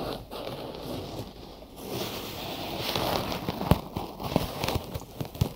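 Fingertips tap and scratch quickly on a binaural microphone whose ears are wrapped in cotton gauze bandage, producing a close, muffled rustling and scraping. Brief low thumps break through more sharply toward the end.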